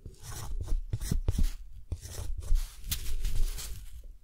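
A metal dip pen nib scratches cursive text across a deckle-edged sheet of thick, textured cotton paper held down by one hand. The sound is a run of bright, rasping scratches in uneven strokes, with brief sharp clicks and low soft thumps between them.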